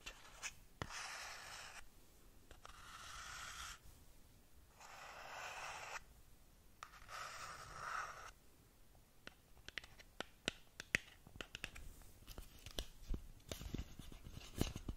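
Long nails slowly scratch and rub the sides of a long, narrow, hollow black cardboard lip gloss box that is closed. The first half brings soft, breathy swishes of rubbing, each lasting a second or two. These give way to a quicker run of sharp, dry clicks and scratchy ticks.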